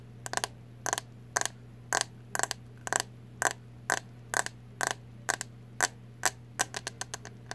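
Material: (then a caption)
Plastic. Long acrylic nails tap the hollow, translucent green plastic back of a hairbrush held up close, making short, bright, clicky taps in quick little bursts of two or three at an uneven pace. Each tap dies away almost instantly, over a steady low hum in the background.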